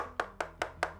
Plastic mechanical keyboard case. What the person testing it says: definitely no dampening inside of this